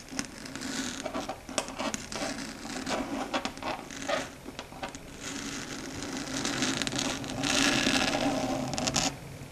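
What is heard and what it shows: Long red stiletto nails claw and scratch across a flat, dark grey matte chalkboard on a solid board. Dry, bright scraping strokes come in an irregular, rapid patter over a faint steady hum. Near the end they build into a louder, sustained scratch before easing off.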